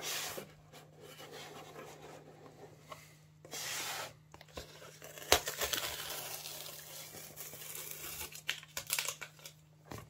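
Fingertips and nails rub and scratch across the surface and edges of a closed, hollow, medium-sized corrugated cardboard Amazon Prime box with paper labels and tape, resting on a cutting mat. The result is a bright, dry, papery scraping and crinkling texture with occasional sharp clicks and short bursts of louder rasping. A faint steady low hum runs underneath throughout.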